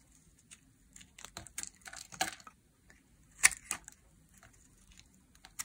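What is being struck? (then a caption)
Glycerin soap bar cut with a knife blade. A utility knife blade peels curled slices off a solid translucent pink glycerin soap bar held in the hand. It makes a quiet, irregular series of short, bright scraping and crackling strokes, with the loudest cut near the middle and almost no low end.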